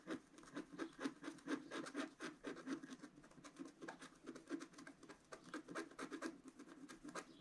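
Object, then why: Scratch art card with wooden stylus. A wooden stylus scratches the black coating of a flat, solid scratch art card, with coloured foil paper underneath and about A4 in size, lying on a table. Quick, unevenly paced strokes of about two per second give a dry, raspy scratching with a mid-range body and a bright edge. The scratching goes on steadily throughout.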